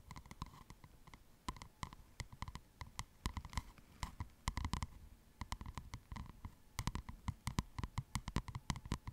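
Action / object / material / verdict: tap / cardboard-covered spiral paper notepad / cardboard / none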